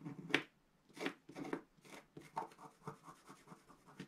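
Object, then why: Black-coated scratch art paper scratched with a wooden stylus. A wooden stylus scratches lines into the black coating near the top corner of a flat, thin, solid scratch art paper sheet lying on a table, while the other hand rests flat on the sheet. The clip is a series of short, dry, bright scratching strokes with quiet gaps between them.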